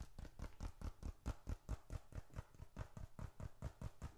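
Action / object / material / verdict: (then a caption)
tap / leather bifold wallet / leather / none. A small dark red leather bifold wallet is held upright and tapped with the fingertips in a quick, fairly steady rhythm. It makes soft, dull, low thumps with almost no ring. The wallet is closer at the end.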